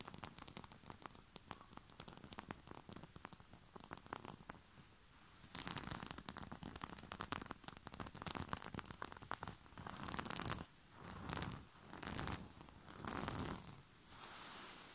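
Short fingernails of both hands scratch fast across a white rose-print cotton bed sheet laid over a soft surface, making a dense, crackly stream of quick dry scratches. The scratching grows louder and fuller after the first few seconds, then gives way to slower, breathy rubbing swells of bright fabric noise.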